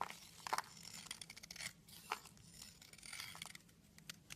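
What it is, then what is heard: Soap bar scraped with a knife. A knife blade scrapes flakes off a solid red soap stick held in the hand, breaking it into crumbly chips. Quiet, dry, bright scraping and crisp crunching ticks come in an irregular series, with a few sharper snaps standing out.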